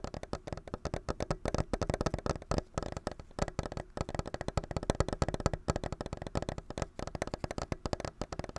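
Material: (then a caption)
Plastic. Fingertips and nails rapidly tap and scratch a hand-sized white and clear plastic clamshell package, held in both hands, with a Nintendo Switch game controller inside. The result is a dense, steady run of dozens of short, dry, hollow taps with a low thump and little brightness, each dying away almost instantly.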